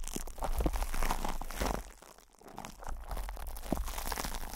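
Fingertips squeeze, scratch and rub crinkly plastic cling film stretched over the hollow metal mesh grille of a microphone head, producing dense, close-up crinkling and crunching with a boomy low-end thump. The rustling briefly fades quieter near the middle, then returns with scratchy crackles.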